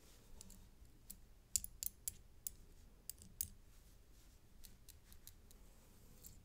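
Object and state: Metal chain necklace with coin pendant.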